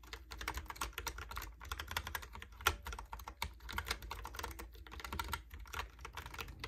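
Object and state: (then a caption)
Plastic keyboard being typed on. Fingertips type rapidly on a Logitech keyboard with round plastic keycaps, producing a dense run of quick, crisp clicks and clacks that die away almost instantly. One tap stands out louder near the middle, over a steady low rumble underneath.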